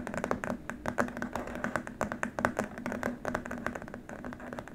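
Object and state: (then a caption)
Plastic keyboard wrist rest. Fingertips and nails tap quickly across a long, flat, white rigid plastic keyboard wrist rest in a typing-like rhythm. The result is a dense run of short, dry plastic clicks with very little ring, centered in the mid range around 600 Hz.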